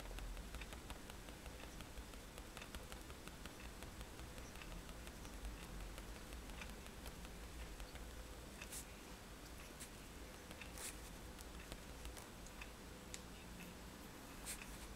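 The metal tip of a fine-liner pen taps repeatedly on a white sketchbook page lying flat on a table, stippling dots before the pen lifts at the end. The sound is quiet, rapid, bright ticking over a steady low hum.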